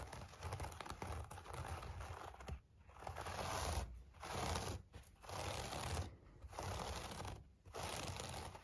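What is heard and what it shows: Fingertips of both hands scratch across the pile of a thick, hand-tufted wool rug shaped like a tiger, lying on a wooden floor. The result is a soft, dense, rustling scratch with a low, muffled body, coming in sustained bursts separated by brief pauses.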